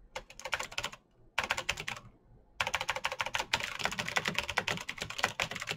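A black Razer BlackWidow mechanical keyboard with plastic keycaps on clicky green switches is typed on quickly with the fingertips. Rapid, bright, crisp clicks come in three bursts separated by short pauses, with the last and longest run lasting about three seconds. Each click is sharp and dies away almost instantly, with very little low-end thump.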